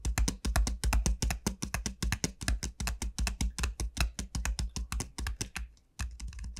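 Long nails tap rapidly on the hard shell of a large, hollow dried gourd, its bulbous end facing the microphone. Each quick, bright click sets off a deep, hollow low thump that fades almost at once. The steady stream of taps briefly stops near the end, then picks up again more softly.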